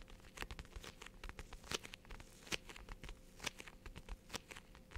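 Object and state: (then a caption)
Plastic case. Long nails tap a small white hard Hello Kitty case, apparently plastic and probably hollow, held in both hands in front of the mic. A quick, irregular run of soft, dry clicks and ticks with a bright, crinkly edge dies away almost instantly, over a faint steady hum and low rumble.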